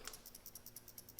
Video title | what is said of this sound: Restoring an Early Coleman 335 Lantern | You can hear a little ball rattling. That means it's usually going to be good.